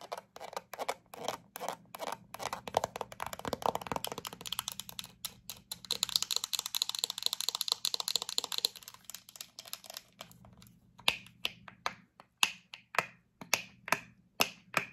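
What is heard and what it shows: Long acrylic nails tap and scratch a full-looking yellow plastic squeeze tube of hand cream with a black plastic cap. Quick, dry, bright clicks come in dense runs, then a stretch of hissy scratching, and finally slower, sharper taps spaced apart. Each tap dies away almost instantly.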